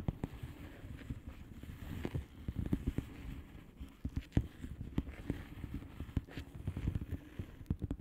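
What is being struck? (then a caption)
Plastic bubble wrap envelope. Long painted nails on both hands tap and scratch the bubbles of a blue plastic bubble wrap mailer lying flat. The result is a steady run of soft, dull, low taps mixed with a faint rustling scratch, each tap short and quickly gone.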